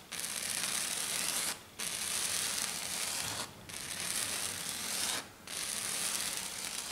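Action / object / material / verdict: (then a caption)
scrape / glitter foam sheet / glitter foam / none. Long dark nails scratch hard and fast across a flat silver glitter sheet, probably glitter foam, one hand at a time. The sound is a dense, bright, hissy scraping in four long bursts separated by brief pauses.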